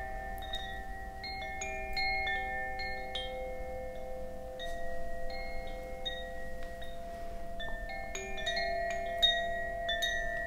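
A bamboo Koshi wind chime, a hollow bamboo tube chime with a wooden clapper, is held by its cord and swung. It gives irregular, overlapping strikes of bright, bell-like tones that ring on and layer into a shimmering wash, over a faint low rumble.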